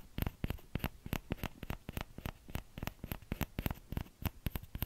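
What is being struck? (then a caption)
Small plastic ladle. Short nails and fingertips tap the hollow bowl of a small orange plastic ladle in a quick, irregular run. Each tap is a dry, soft click with a low, hollow thump and a bright edge that stops almost at once, with no ring.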